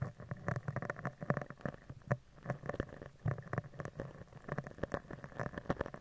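A spoolie brush with dark bristles is brushed and scratched along the surface of a round, hollow steel mesh microphone grille, moving from the side up to the top. It makes a dense run of quick crackling scratches and soft ticks over a boomy, low-heavy rumble, with brief louder bursts as the bristles drag across the mesh.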